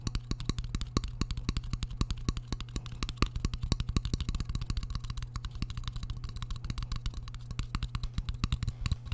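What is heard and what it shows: Fingertips rapidly tap the front face of a shallow, empty white square ceramic plate held close to the microphone, with a metal fork resting behind it. The result is a fast, continuous run of short, dry clicks with bright edges over a steady low hum.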